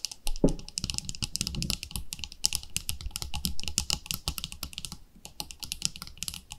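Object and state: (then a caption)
Plastic cosmetic jar. Long nails tap rapidly on the lid and sides of a palm-sized round white plastic cream jar with a pink label. The result is a dense stream of short, bright clicks over a soft low thump, each dying away almost instantly. The tapping eases briefly near the five-second mark before picking up again.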